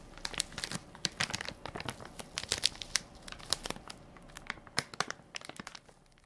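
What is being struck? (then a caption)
Soft plastic-film wipes pack. Fingertips and nails crinkle and scratch the film top of a full, soft plastic-film baby wipes pack with a plastic lid, held in one hand. Dense, bright, crackly crinkles come in quick, sharp bursts with almost no low end and no ring. They flare up and fade irregularly before tapering off.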